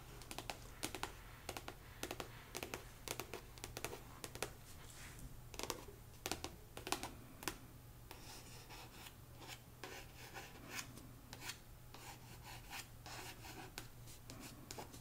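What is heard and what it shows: Fingertips and long nails tap and scratch the glossy card front cover of a paperback novel, "The Siren of Sussex," a solid stack of paper lying flat on a knit rug. Quick, sharp, dry clicks come in irregular bursts with soft, bright scratching between them and almost no ring. A steady low hum sits underneath throughout.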